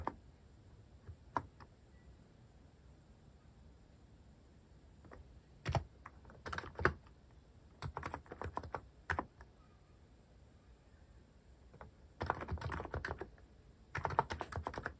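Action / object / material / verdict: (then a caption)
tap / mechanical keyboard with plastic keycaps / plastic / none. Fingertips type slowly on a cream mechanical keyboard fitted with sculpted plastic cat and paw keycaps. Short, dry clacks come in irregular bursts separated by quiet pauses, each keystroke dying away almost at once with a soft, low body under a brief bright tick.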